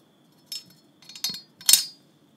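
A Malay kris dagger with a wavy steel blade is tapped, giving four short, bright metallic clinks that sit almost entirely in the high frequencies. The taps come in separate bursts, the last one the loudest, and each dies away quickly.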